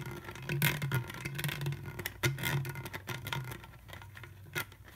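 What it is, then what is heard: Plastic juice bottle. An empty, hollow, clear ridged plastic Welch's juice bottle with a white plastic screw cap is held sideways while fingertips and nails rub and trace along its ridged neck. The result is soft, scratchy plastic rubbing broken by quick bright crackling clicks, over a steady low hum.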